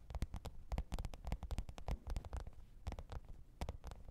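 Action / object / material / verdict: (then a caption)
tap / faux leather hard-shell zippered case / faux leather / none. Long pointed nails tap and scratch the top of a black, textured faux-leather hard-shell microphone case with a zipper, lying flat on fur. Quick, irregular taps land in dense bursts, each a soft, dull thump with a brief clicky edge that dies away almost at once. Faint scratching fills the gaps.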